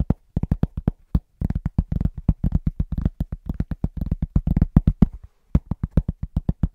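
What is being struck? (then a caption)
Round pressed-cork trivet. A large, thin, solid round pressed-cork trivet, about 25 cm across and held upright, is tapped fast and rhythmically with the short nails and fingertips of both hands. The taps land as dull, low, dry thuds that die away instantly, coming in quick bursts broken by brief pauses.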